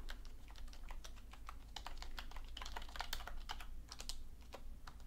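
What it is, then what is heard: Plastic computer keyboard. Both hands type steadily on a black full-size plastic computer keyboard with hollow key caps on a desk, tapping the keys with fingertips and long painted nails. A dense run of quick, bright, clicky taps rides over a constant low hum.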